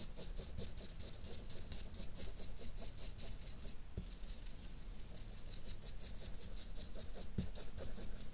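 A grey felt-nib marker rubs quick shading strokes over a map drawn on a flat white paper sheet. It makes a steady, soft, scratchy patter with bright squeaky edges over a low, muffled rumble, pausing briefly near the middle before the strokes resume.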